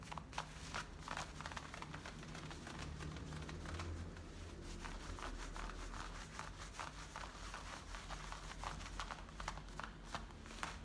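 Fingertips and painted nails scratch and rub the fabric at the frayed waistband and front of worn, high-waisted blue denim jeans with a metal front zipper. The result is a steady stream of quiet, dry, rasping scratches with bright, brief crackling strokes over a low, soft rumble.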